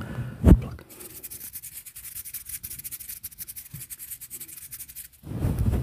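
Fingertips pinch, pluck and rub the fibers of a fluffy grey-and-white synthetic fur windscreen over a microphone. A loud, muffled thump opens the clip, followed by a steady run of rapid, soft, scratchy rubbing strokes. It ends with a louder, low, rumbling brush against the fur.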